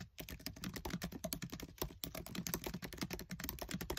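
Fingertips with short nails type fast on a MacBook Air keyboard with black plastic keys set in an aluminium body. It produces a rapid, continuous stream of short, crisp clicks and taps with a soft low thud under each keystroke.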